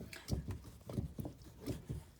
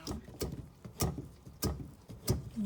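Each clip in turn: First: Dull, low thumps repeat as the churn turns, with no slosh: the cream has thickened past liquid. Second: Five rhythmic low, wet sloshing strokes from a churn, showing the butterfat has separated from the buttermilk.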